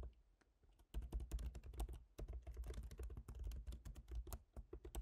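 Both hands type with their fingertips on the plastic keycaps of a silver MacBook Pro, an aluminium laptop keyboard. After a near-silent first second, a steady run of rapid, soft taps follows. Each tap is short and dull, with little ring.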